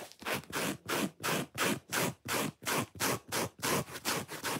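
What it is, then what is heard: Foam sponge scratched. Long fingernails scratch fast across the red face of a solid, watermelon-shaped foam sponge with an attached white cord. The result is a steady series of rough, broadband scraping strokes, each a short, bright rasp with a soft low body that stops cleanly between strokes.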